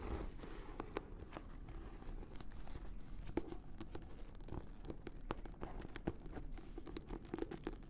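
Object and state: Leather-bound notebook.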